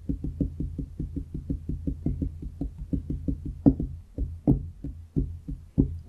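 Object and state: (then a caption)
Wooden desk top. Fingertips of both hands tap and knock on a large solid wooden desk top in a quick, steady run of dull, low, woody taps that die away almost at once. Partway through, the rhythm loosens into slower, harder knocks that stand out above the rest.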